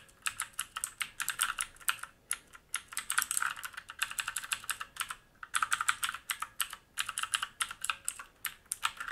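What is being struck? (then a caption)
Mechanical keyboard with plastic keycaps and metal top plate. Fingertips type quickly on a black mechanical keyboard with plastic keycaps and a metal top plate and frame, resting on a wooden desk. Rapid bursts of crisp, bright clicks and clacks follow one another, with brief pauses near 2 and 5.5 seconds. Each keystroke dies away almost instantly, leaving a dry, high, clattering sound with no low rumble.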